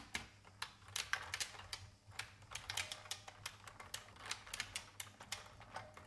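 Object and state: Plastic mechanical computer keyboard being typed on.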